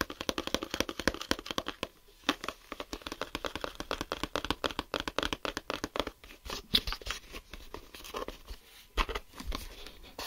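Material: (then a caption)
Plastic. A closed, hollow clear plastic geometry set case is held in both hands and turned to its smoky grey back while fingertips and nails tap and scratch its surface. Rapid, dense clicks and crisp, bright scratching run throughout, with short pauses and a few sharper taps. The sound is fairly quiet, and each tap dies away almost instantly.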